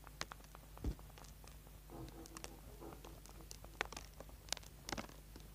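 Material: Soap.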